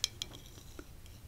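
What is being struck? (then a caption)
Small glass figurine. A small glass monkey figurine holding a little banana is tapped lightly. Two bright, high clinks ring out and die away almost instantly, followed by fainter ticks over a quiet background.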